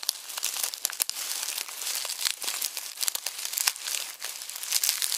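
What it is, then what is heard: Dry onion skins in a mesh bag. Fingertips crumple and rub dry onion skins through a red plastic mesh bag resting on a bamboo board. The result is a dense, dry, bright crackle of crinkling with sharp, quick snaps and almost no low end, continuing steadily throughout.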